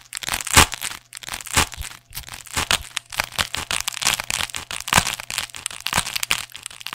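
A thick black neoprene fabric sleeve, hollow and soft, is held close to the microphone while fingertips and nails scratch its textured surface. Dry, bright scratching and crinkling come in uneven bursts, with a few sharper cracks and a faint low hum underneath.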